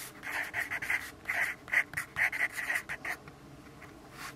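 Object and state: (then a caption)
Pencil writing on a paper notepad. A yellow graphite pencil writes on a lined paper notepad resting on a wooden desk, making a quick series of dry, scratchy strokes. The strokes are bright and hissy and center around 2 kHz. They fade to a faint, quieter scratching over the last second.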